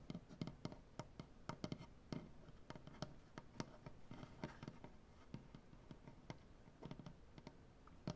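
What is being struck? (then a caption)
Wooden butcher-block tabletop. Fingernails tap and scratch along the grain of a large, solid wooden butcher-block tabletop. The result is a quiet run of short, dry, low knocks with little ring, mixed with soft, brushy scratching that carries faint high texture.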